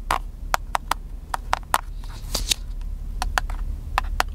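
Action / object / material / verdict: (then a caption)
tap / plastic camcorder / plastic / none. Fingertips tap and rub the hollow body of a small black handheld plastic camcorder held in one hand, making fourteen short, dry, hollow clicks with a ringing tone around 1 kHz. Faint scraping rubs fill the gaps between taps over a low steady rumble.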